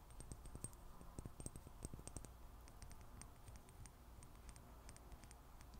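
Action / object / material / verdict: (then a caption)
tap / small glass dropper bottle tapped with fingernails / glass / none. Long nails tap quickly on a small glass serum bottle with a black dropper cap held in the fingers. The sound is a quiet, uneven run of light, sharp clicks with almost no ring, over a low background hum.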